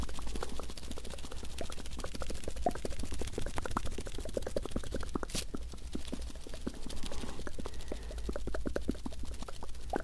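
A thin, flexible folded paper US dollar banknote is held in one hand near the microphone while fingers crinkle and rub it. The result is a steady stream of dense, crisp crackles and small clicks over a constant low hum for the full ten seconds.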